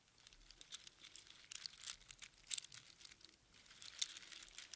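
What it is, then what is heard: Strand of small seashells. A strand of small hollow spiral seashells on string is held close up in cupped hands, then squeezed and shaken. It makes quiet, bright, crinkly clicks and rattles in irregular bursts. There is almost no low end, and each tick dies away almost at once.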